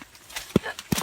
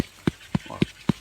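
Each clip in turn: First: Two soft, low thumps from a jackfruit on the tree, deep and muffled, pointing to ripe, softened fruit. Second: Four evenly spaced dull, low thuds near 190 Hz that stop at once: a slightly younger jackfruit.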